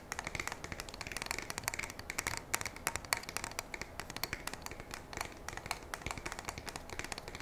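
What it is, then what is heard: Pump shotgun tapped and scratched with nails. Long nails tap and scratch along the body of a black polymer and metal pump shotgun held upright. The result is a quick, continuous run of sharp, dry clicks with almost no ring, each with a bright edge over a soft scratching hiss and little low end.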